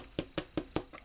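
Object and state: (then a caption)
Baked-through bread loaf, sounds hollow. Four hollow, dull thumps ring out as a roasted garlic and herb bread loaf, baked for 35 minutes, is tapped. Each knock is short and low with almost no ring. The hollow sound shows the bread is done, ready to cool on a wire rack.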